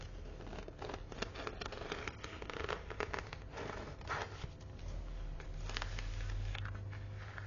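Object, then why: Perforated faux-leather book cover. Long nails scratch the teal perforated faux-leather cover of a thick Bible held upright and tap along its spine. The result is a dense run of dry, crackly scratches and sharp little clicks over a steady low hum.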